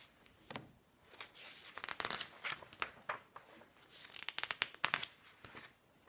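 Fingertips turn and brush the thin pages of a large open glossy paper magazine lying on a wooden table. The result is a string of crisp, quiet flips and rustles that are bright and papery, with almost no low end.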